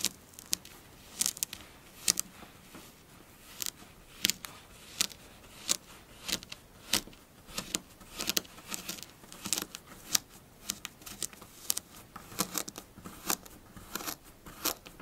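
Long blue nails scratch and dig into the top of a pink kinetic sand mound with both hands, giving crunchy, crumbling sounds. Many quick, dry, bright crackles and scrapes come in irregular bursts over a faint hiss, with almost no low end.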